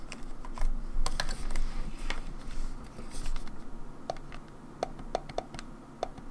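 Long nails tap and scratch the rear shell and grips of a grey hollow plastic Nintendo 64 controller turned over onto its back. Quick, irregular hollow clicks with bright sharp tops mix with soft scratchy rustling over a low steady rumble.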